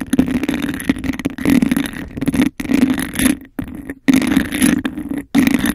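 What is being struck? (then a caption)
Textured glass cup. A clear textured glass cup is held over the mic while fingernails rapidly tap and scratch its surface. The result is a fast, hollow, resonant scraping and tapping with a humming tone near 270 Hz. It comes in dense bursts separated by brief silent pauses.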